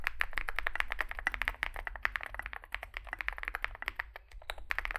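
Two hands type rapidly with their fingertips on a Zoom65 65% mechanical keyboard, which has a solid metal case and grey and white SA-profile plastic keycaps and rests on a desk mat. The result is a dense, steady run of short, sharp plastic clacks with a bright edge that stop dead with no ring, over a low rumble underneath.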